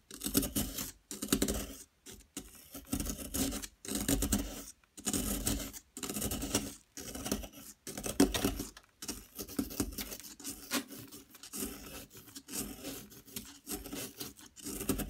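A yellow plaster excavation block, with long nails held inside it, is chipped and scraped with a small metal pick. Short bursts of dry scratching and crumbling come in uneven clusters separated by brief silences. The scraping has a gritty, bright edge over a faint low-mid tone.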